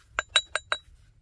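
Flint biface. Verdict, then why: Solid. A heat-treated Flint Ridge flint biface is struck four times during knapping, giving sharp, glassy clinks with a thin high ring around 3.9 kHz. The biface rings cleanly when hit, showing it is solid despite a visible crack, possibly a healed one, so knapping continues.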